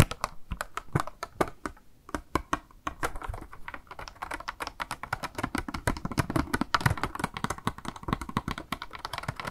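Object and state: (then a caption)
Plastic blister box with a makeup sponge, tapped with nails. Long nails tap rapidly on a small, hollow, clear pink plastic blister box with a makeup sponge inside, held in the hand. Short, dry clicky taps come at an uneven pace with a brief pause near two seconds, then turn into a dense, steady patter. Each tap stops almost instantly with no ring.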